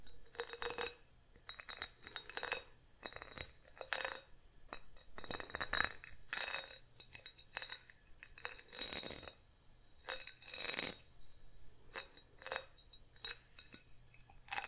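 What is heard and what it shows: Fingertips and nails tap and scratch the raised diamond-pattern bowl of a small, faceted, textured glass goblet, hollow and apparently empty, held in one hand. Quick, bright glassy clinks and scratchy rasps come in uneven bursts throughout, each dying away almost at once with only a faint ring.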